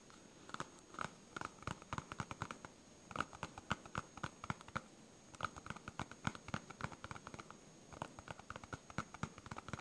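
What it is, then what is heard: Foam stress ball. Fingernails scratch and tap a solid yellow smiley-face polyurethane foam stress ball. The result is quiet, dry, rapid ticks and scratchy patters in bursts with short pauses between them. Each contact dies away almost instantly, and a faint steady high tone sits underneath.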